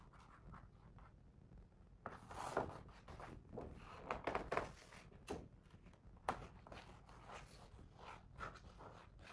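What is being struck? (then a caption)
Hardcover picture book with glossy paper pages. Fingertips trace and rub across the glossy paper pages of a hardcover picture book held open on the same spread. After a near-silent first two seconds, soft dry swishing and scratchy rubbing strokes come and go in uneven bursts, with a few louder brushes and a faint bright hiss between them.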